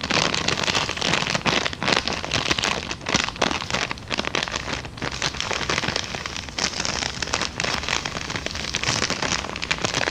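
A hollow, empty brown kraft paper bag, held up in both hands, is scratched, tapped and crinkled with long dark nails. The result is a dense, continuous, bright crackle and rustle that sounds like rain, with quick dry taps running through it.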